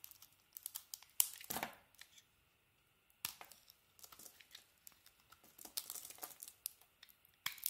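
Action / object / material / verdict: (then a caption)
scrape / bar of soap cut with a knife blade / soap / none. A utility knife blade cuts and scrapes slices off a hand-sized solid white bar of soap with a multicolour striped coating. The sound is quiet and dry, with bright, crisp tearing and crinkling scrapes that come in irregular bursts and stop cleanly, with a short silent pause partway through. There is almost no low end.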